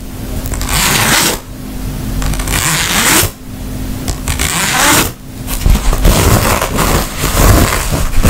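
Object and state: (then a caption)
Fabric makeup pouch. Fingernails scratch along the zipper and the tapestry fabric of a makeup pouch, with some handling of the zipper. The scratching comes in long, dense, rasping stretches separated by brief pauses, with a bright hiss over a low rumble.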